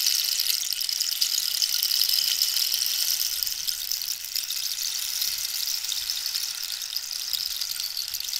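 Long nails tap and scratch along a long, hollow, wooden dried-cactus rainstick while the stick is tilted. The result is a steady, bright, hissing patter of rattling grains with almost no low end and a faint high tone running through it, holding an even level throughout.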